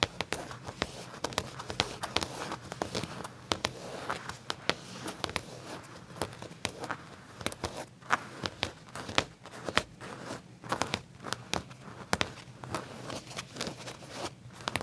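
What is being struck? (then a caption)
Leather trousers. Fingertips and short nails scratch and tap around the pocket seam on the back pocket area of black leather pants laid flat. Dozens of quick, dry clicks and crisp scratches with bright edges sound over a soft, steady low hum, each one dying away almost instantly.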